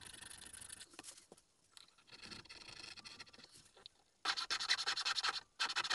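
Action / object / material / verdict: scrape / small wooden mask blank worked with a metal needle file / wood / none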